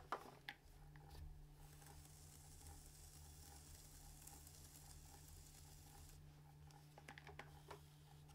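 A metal trimming tool (kanna) scrapes and carves the foot of a medium-size unfired, leather-hard clay pitcher, hollow and empty, sitting upside down on a spinning potter's wheel and throwing off clay shavings. A steady low motor hum runs throughout beneath soft, gritty scraping. A few sharper scratchy bursts come at the start and near the end.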